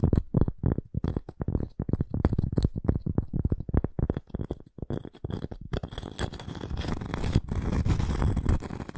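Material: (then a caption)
Cork. Long nails scratch the surface of a round, flat cork coaster with a wood rim. Rapid, dry, low-heavy scratching strokes are heard in quick bursts, becoming a denser, steadier rasp with more hiss over the last few seconds.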